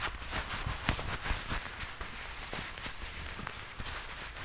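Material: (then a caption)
Leather. Black leather gloves worn on both hands rub, squeeze and flex against each other just above a furry microphone. Soft creaking and scuffing crinkles arrive in uneven bursts, with two sharper creaks standing out over a low, rumbly bed and bright leathery texture.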